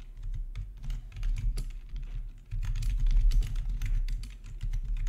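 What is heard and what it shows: Fingertips type on a full-size black plastic RGB backlit gaming keyboard with a hollow housing, resting on a marble surface. The keys give a steady, irregular stream of quick clicks and taps over a deep, hollow thud. Each keystroke dies away almost at once.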